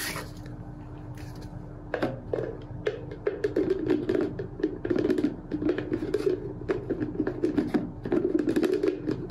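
Fingertips and nails rapidly tap and handle a medium-size, hollow, empty clear plastic storage container with a dark red plastic lid, standing on a white tiled counter. After about two quiet seconds, a dense run of light, clicky taps and scratchy scrapes begins, each with a short hollow ring around 300 Hz. The taps fade almost instantly and continue in quick, irregular bursts to the end.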